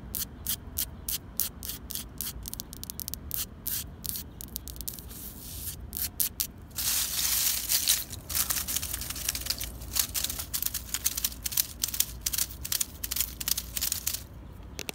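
Fingertips with long pink nails scratch, crunch and rustle a pile of dry brown fallen leaves on the ground beside a concrete curb. Rapid, bright, crackling bursts repeat throughout, with a denser hiss of continuous crunching in the middle, all over a faint low rumble.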